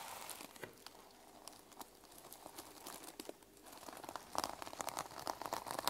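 Medium-length nails scratch and flip the teal and silver reversible plastic sequins on the cover of a small, flat, sequin-covered fabric journal lying on a wooden table. Dense, bright crinkling and rapid clicking dip quieter midway, then return as sharper, louder, crisp ticks toward the end.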